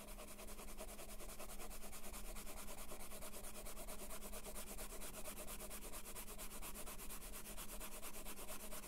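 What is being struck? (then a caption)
Colored pencil rubbing on a paper page. A colored pencil held in the hand rubs back and forth across a flat paper coloring page with a house drawing, coloring it yellow. A steady, rapid scratching of quick strokes runs throughout at an even level over a low, constant hum.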